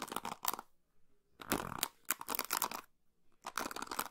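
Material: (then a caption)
Plastic. Long pink nails scratch and flick across the white plastic pins of a hand-sized orange and blue plastic paddle hairbrush held close to the microphone. The sound is a series of dry, crackling bristle scratches and bright ticking flicks, arriving in bursts separated by short pauses.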